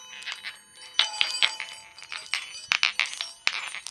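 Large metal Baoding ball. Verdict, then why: Hollow. A large hollow metal Baoding ball with a sounding structure inside is rolled or shaken, giving a series of bright, bell-like chimes. The short, high-pitched rings, centred around 2 kHz, come in irregular bursts over a quiet background.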